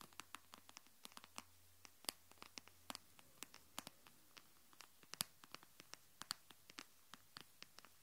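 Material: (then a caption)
Plastic. Long nails tap and scratch the back of an empty, hollow teal glitter plastic phone case lying face down on a wooden table. About three dozen quick, sharp, bright clicks fall at an uneven pace, each dying away at once, over a faint low hum.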